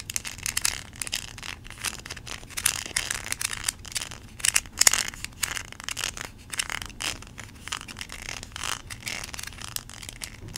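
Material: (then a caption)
Plastic. Long nails scratch and tap across the kernels of a small yellow plastic toy corn cob, giving a dense run of bright, dry clicks and scrapes with no ring. The taps come in quick irregular bursts over a faint low hum, with a few louder strikes near the middle.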